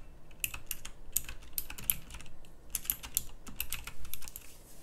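Fast typing with both hands on a full-size backlit pink mechanical keyboard with round plastic typewriter-style keycaps. Its clicky switches give a rapid stream of sharp, bright clicks over a low background rumble. The clicks are short, and each decays almost instantly.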